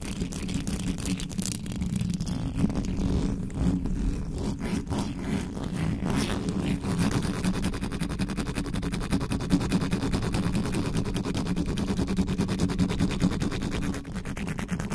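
Long nails scratch the sides and top of the hollow metal mesh grille on a black condenser microphone. The result is a continuous, fast, irregular scraping and rasping with a heavy low rumble and a steady hum near 184 Hz. Brighter streaks of scratching flicker above it.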